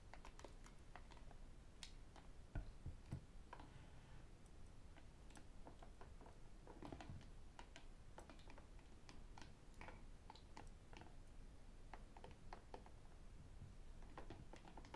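A hollow white plastic sports water bottle with a black cap is held, then stood on a table, and tapped by fingertips and metal rings. The result is a quiet, steady stream of quick, dry, clicky taps with sharp bright ticks, over a low background rumble, and each tap dies away almost at once.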